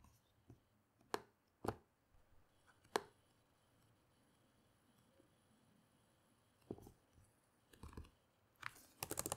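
Fingertips with long nails tap the plastic keys of a black laptop keyboard on a table. Sparse, sharp clicks come at uneven intervals over a quiet background, then a faster flurry of bright key taps at the end.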